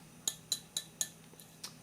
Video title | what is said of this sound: Soviet F1 Hand Grenade | this is very tinny you're not going to hear anything like that tapping this grenade